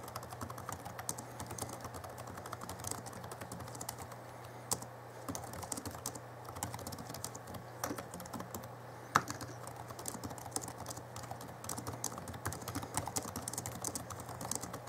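Fingertips of both hands type fast on the backlit plastic keys of a small Alienware M11x R2 (2011) laptop keyboard. Rapid, short, dry key clicks and taps run continuously, with a few sharper louder strikes, over a steady low hum.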